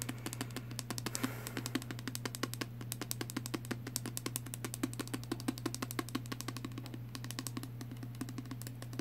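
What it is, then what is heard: Small plastic spray bottle tapped with fingernails. A small pink plastic perfume spray bottle with liquid inside and a clear cap is held in the hand and tapped quickly with fingernails. It makes a steady stream of rapid, short, light clicking taps over a constant low hum.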